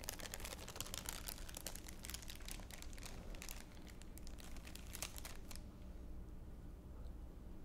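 A thin, clear, empty plastic wrapper or bag is held in both hands and crumpled and crinkled with the fingertips. The result is a dense run of sharp, bright crackles over a low steady hum. The crinkling stops at about five and a half seconds, leaving only the quiet hum.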